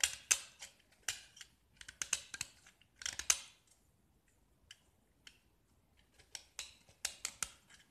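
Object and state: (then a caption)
Gypsum brick scraped with a blade. A metal utility knife blade scrapes a small solid gypsum block, mostly white with remnants of green paint. Short, crisp, bright scratching strokes come in irregular clusters, with a quieter stretch of sparse light scrapes in the middle before the strokes pick up again.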